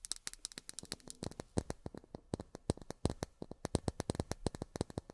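Long fingernails tap on miniature plastic drinking glasses in a quick, uneven run of about 34 sharp, clicky taps. Each tap is short and bright with almost no ring, and the taps vary in loudness against a quiet background.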